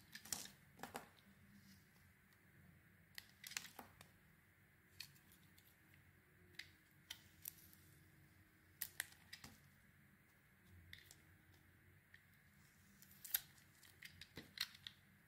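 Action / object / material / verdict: scrape / solid bar of soap cut with a small metal knife / soap / none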